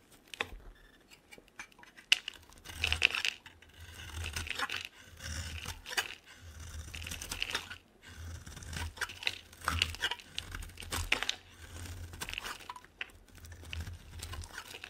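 A solid, dry pink bar soap with an embossed logo is carved into curls with a metal box-cutter blade. Bright, crisp scraping and crunching shavings come in repeated strokes, separated by brief pauses and underlaid by a low rumble.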